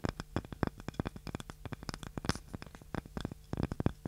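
A small, light, solid wooden cutting board with a handle is scratched and tapped with long nails. Many quick, dry, low clicks and taps with brief scratchy strokes come in close, uneven succession, each dying away almost at once.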